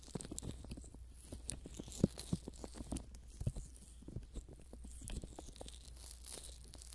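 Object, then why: Soft silicone ear model. Thumbs and fingertips rub and press a pair of soft silicone ear models greased with Vaseline on a binaural microphone, folding and pulling the ears. The result is a steady stream of wet, sticky crackles and squelching smacks over a low, muffled rumble. A few sharper pops stand out around two and three and a half seconds.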